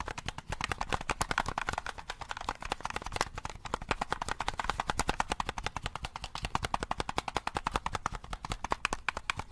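A black, hollow plastic game controller is held in both hands while fingertips rapidly press its buttons and tap on its shell. A dense, continuous stream of short, dry plastic clicks and taps keeps up an uneven rhythm. Each one is crisp and bright and dies away almost at once.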